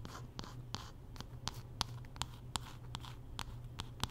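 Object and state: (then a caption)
Wooden paddle hairbrush. Long nails scratch along the wooden back and handle of a solid wooden paddle hairbrush held horizontally, making about thirteen short, bright scratching strokes in an uneven rhythm over a steady low hum. Each stroke is a quick, dry rasp that dies away almost at once.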